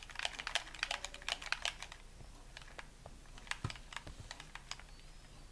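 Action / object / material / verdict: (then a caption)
tap / plastic game controller / plastic / none. A hollow white plastic gamepad, held in both hands, is tapped rapidly with the thumbs and fingertips, giving dense runs of dry, bright plastic clicks with almost no ring. The tapping thins out in the middle, a few duller low knocks sound near the end, and one hand lets go of the controller.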